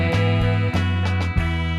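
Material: Nothing is struck.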